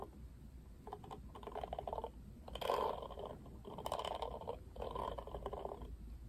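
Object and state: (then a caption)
Plastic paddle hairbrush. Fingertips rub and scratch across the plastic bristles of a pink-rimmed plastic paddle hairbrush held in one hand. The result is soft, dense scratchy rustling in repeated bursts, centered in the midrange with faint brighter ticks, over a quiet low background.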